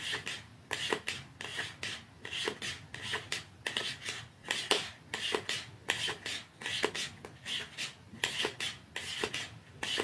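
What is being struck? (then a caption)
Small cardboard mascara box. Fingernails scratch and rub the surface of a small, narrow, dark cardboard mascara box held upright in both hands, while a second box lies untouched nearby. The result is a steady series of short, dry, bright rasping strokes at an uneven pace of roughly one and a half per second, each stopping quickly with almost no ring or low end.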